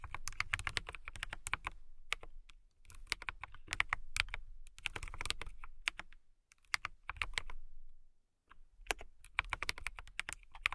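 Long nails and fingertips type on a transparent acrylic/polycarbonate KiiBOOM Phantom 81 mechanical keyboard with clear keycaps and RGB lighting, resting on a fluffy rug. Bursts of quick, bright clicky keystrokes with a low thump under each press are separated by short pauses.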